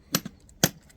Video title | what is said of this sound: Sugarloaf Mountain - Hoover Dam Area - Lake Mead NRA, Arizona | It's hollow. Hollow. So it's not a huge density